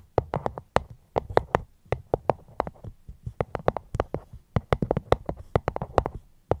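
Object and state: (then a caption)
Fruit box. A fruit box held close to the microphone is tapped gently with quick, irregular taps in short bursts, with brief pauses between them. Each tap is a dry, short knock with a mid-pitched tone and a soft low thump underneath. There is almost no ring after each tap.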